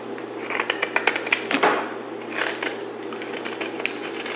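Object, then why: Bar of soap carved with a metal blade. A pale green solid rectangular bar of soap is held in hand and carved along its edge with a utility knife blade, and the shavings fall onto a pile. A quick run of crisp, bright scraping ticks gives way to longer rasping shaves, all over a steady low hum.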